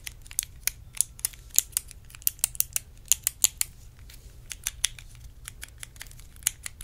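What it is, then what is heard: Plastic compartment box tapped with nails. A small, hollow clear plastic compartment box is held in both hands and tapped with long acrylic nails. The result is a quick, uneven run of sharp, bright clicks, about 22 taps, each very short with almost no ring. A faint low hum sits underneath.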